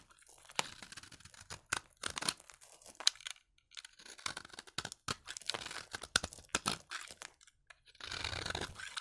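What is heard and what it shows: A utility knife blade scrapes crunchy flakes off the edge of a solid orange bar of dry vintage soap held in the hand. It makes a quick run of short, bright, crisp crunching and tearing scrapes, ending in a longer, steadier scrape.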